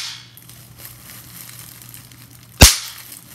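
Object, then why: Plastic bubble wrap. Clear plastic bubble wrap with hollow air bubbles is bunched in the hands while fingertips and long nails pinch the bubbles. After a quiet stretch of faint plastic rustling, a single bubble bursts with one sharp, bright pop that fades within about a tenth of a second.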